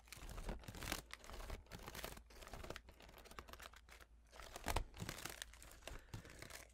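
A blue folding fan of paper pleats and carved wooden ribs is held close and folded and unfolded by fingertips and nails. Its pleats crinkle and rustle in quick, uneven bursts of bright, papery crackle with soft taps. A steady low hum runs underneath.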